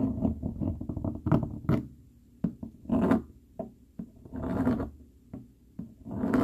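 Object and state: Cardboard scratched with a fork.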